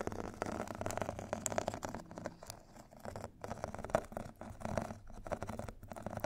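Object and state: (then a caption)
Abrasive foot file scratched with metal sticks. Two thin metal sticks scratch and tap across the purple abrasive grit side of a rectangular foot file with a foam core. The result is a quiet, dense patter of short, dry scratches and light taps with no ring, centered in the mids and fading to near silence briefly partway through.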